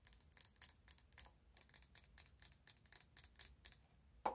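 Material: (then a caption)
Glass. Long nails tap and scratch a wide glass candle jar filled with orange wax as it is turned in the hands. A quiet, rapid series of bright, crisp clicks and scrapes ends with one louder tap that rings briefly with a glassy mid-pitched tone.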